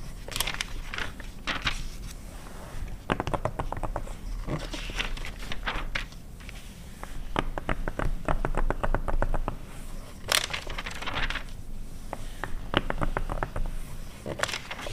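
Long red nails tap and scratch across the glossy paper pages of an open 2009 car magazine lying on a fur rug, with pages flipped now and then. The sound is quick, irregular dry taps and rasping scratches with very short decay, broken by bright papery swishes and crinkles as the pages turn.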